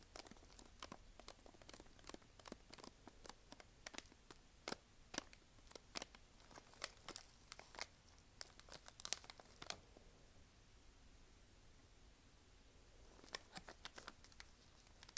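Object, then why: Snack bar in plastic foil wrapper. Long nails tap and scratch a small, sealed Nature Valley granola bar in a crinkly plastic foil wrapper held in both hands. Quick, bright crinkles and sharp clicks run for about ten seconds over a faint background. A near-silent pause follows before a few more crisp taps at the end.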